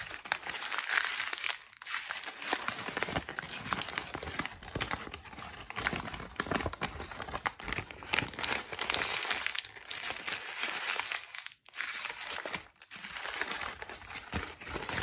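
A single thin, light, flexible torn-out sheet of white lined notebook paper with a perforated spiral edge is held in both hands and crumpled, squeezed and re-opened with fingertips and long pink nails. The result is dense, bright, continuous crinkling and crackling, broken by brief pauses near 2, 11.5 and 12.7 seconds.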